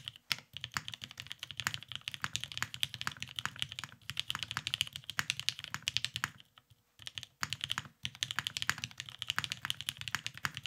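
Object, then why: Mechanical keyboard with plastic keycaps. Both hands type continuously with fingertips on a beige, Cerakoted Salamander tenkeyless mechanical keyboard with plastic keycaps and lubed Vintage Black switches, resting on a desk mat. The result is a rapid stream of short, bright clacks with very little low end. Brief pauses break the stream near the seven- and eight-second marks before typing resumes.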